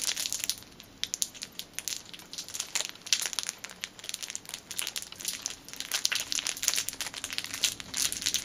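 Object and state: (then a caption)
Cellophane wrapping being crinkled. A small dark item wrapped in clear plastic cellophane is held in both hands and crinkled with long painted fingernails and fingertips. The result is a steady stream of bright, crisp crackles and rustles, with sharper snaps poking out, almost no low end and very little ring after each sound.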